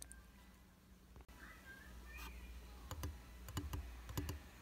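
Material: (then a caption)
Glass. Fingertips and short nails tap rapidly on the dry, solid flat glass surface of a round tabletop makeup mirror with a white plastic frame. The taps are sharp, bright clicks over a steady low hum, sparse at first and then bunching into quicker, louder bursts toward the end.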